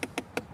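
Three quick, separate knocks on the hard plastic trim around the window switches of a 2021 Lexus IS 300 door panel. Each is a short, dry tap with a bright click and a hollow mid tone that dies away almost at once. The knocks show the trim is hard plastic.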